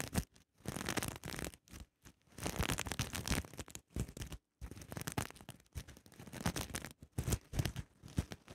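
Long nails brush and scratch across the flipping sequins of a soft, sequin-covered fabric pouch. Dense bursts of crinkly scraping fill the clip, broken by a few short silent gaps.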